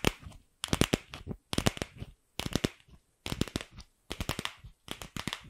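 Long pink acrylic nails tap and scratch a palm-sized hollow pink plastic ball with a seam, held close to the mic. Six quick bursts of sharp, dry clicks with bright scratchy texture and a little hollow low body, separated by brief silences.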